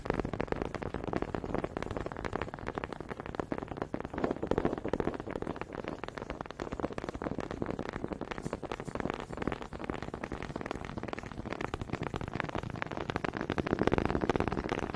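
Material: Wood.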